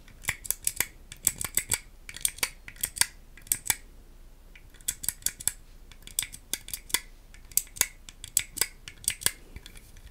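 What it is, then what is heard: Plastic puzzle cube. Long acrylic nails tap and click on a small hand-held solid plastic puzzle cube with green tiles, held close to the mic. The result is a rapid, uneven series of short, sharp, bright clicks in quick bursts with brief pauses, each dying away almost instantly over a quiet background.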